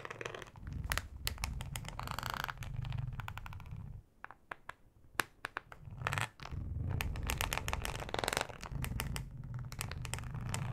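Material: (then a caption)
Plastic. Long acrylic nails scratch across a thin, flexible, solid yellow plastic cutting mat with a ribbed texture. Dense, rapid scraping with a heavy low-end rumble runs throughout, broken by bright crackling ticks. A short quieter stretch near the middle holds only scattered sharp clicks before the full scratching resumes.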